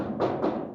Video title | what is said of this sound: 1955 Chevrolet 3100 for sale at Volo Auto Museum (V21386) | you tell me that sounds like metal